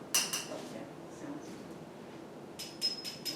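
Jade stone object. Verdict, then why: Real. An ancient Mexican jade lithic object is tapped several times, giving short, bright, metal-like clinks that ring and fade quickly over a faint background hiss. The clear, metallic ring marks the stone as real jade.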